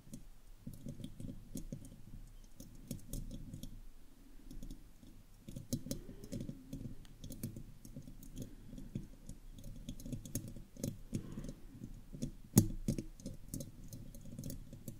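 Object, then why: Metal mesh microphone grille. Long acrylic fingernails of both hands scratch and tap the round, hollow metal mesh grille of a studio microphone. The result is a steady stream of quiet, dry clicks and scratchy rustles with a hollow low body, plus one sharper, louder tap near the end.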